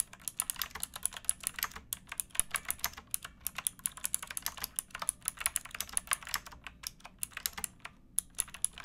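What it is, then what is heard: Plastic mechanical keyboard. Fingertips with painted nails type steadily on a pink backlit plastic mechanical keyboard with round keycaps and a hollow case, resting on a wooden box. Crisp, bright clacks arrive in quick bursts with brief pauses between them, each stopping almost instantly with little low-end thump.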